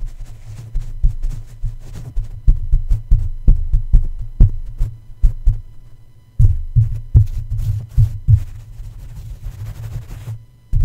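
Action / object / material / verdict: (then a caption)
tap / microphone metal mesh grille tapped with plush fabric / metal mesh / none. Two plush fabric feet tap rapidly on the black domed metal mesh grille of a red microphone. The result is a quick series of muffled, deep thumps with almost no ring, broken by a brief pause near the middle before the tapping resumes.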